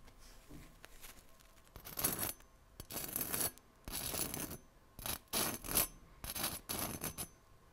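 A steel kitchen knife blade is scraped and tapped across the hard golden crust of a small, round, solid bread roll held in one hand. Bursts of bright, crackly rasping come in repeated strokes, with quiet gaps between them.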